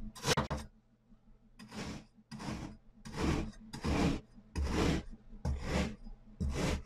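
A hand pushes a metal cleaver down through a pre-scored pyramid of solid pink and purple kinetic sand discs in repeated slicing cuts. Each cut makes a short, grainy crunch and rasp with a low thud, bright grit on top and no ring. The cuts come in a series of separate bursts with brief pauses between them.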